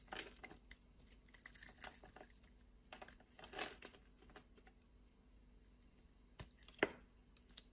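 A utility knife blade cuts and scrapes the scored surface of a solid blue and white striped soap bar held in the hand. Soft, crisp scraping and crackly crumbling bursts come and go against a quiet background, ending with a couple of sharper, brighter snaps.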